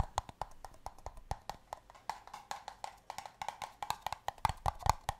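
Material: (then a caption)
Paper. Fingers tap the bases of empty, hollow, pale green paper cups in a quick, uneven rhythm of about 27 short, dry knocks. Each tap gives a hollow, woody tone near 855 Hz with a faint bright click and dies away almost instantly.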